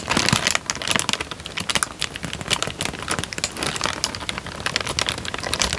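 A thin, light-brown paper sheet, partly folded and then spread out, is crinkled and flexed by fingertips close to the microphone. Dense, bright crackles and crisp rustles come in quick, overlapping bursts with very short decay. They form a continuous crinkling texture that stays mostly in the high range, with little low-end weight.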